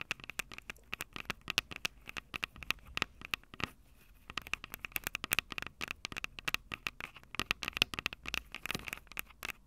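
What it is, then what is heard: Fingernails tapping and scratching metal mic capsules. Long purple nails tap and scratch the two metal mic capsules on top of a small, hollow Tascam DR-05 handheld recorder with a plastic body. Dense, rapid, sharp bright clicks with almost no ring mix with scratchy rustling, and a faint tonal ring sits near 2.6 kHz. The tapping briefly quiets around four seconds before picking back up.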